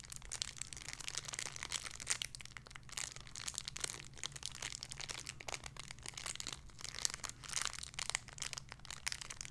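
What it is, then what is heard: Crinkled plastic bag with squishy toy. A small clear plastic bag holding a pink pig squishy toy is crinkled and squished with fingertips and nails. The result is continuous bright, crackly crinkling in dense rapid bursts over a faint low steady hum.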